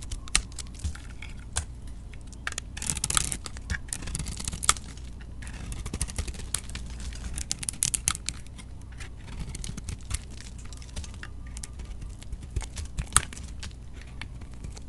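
A metal utility-knife blade shaves the outer layer off a solid white-coated Dalan bar soap with a pink interior, held in the hand. Quick, crisp scraping and crackling cuts come in irregular bursts, bright and dry with almost no ring, over a steady low hum.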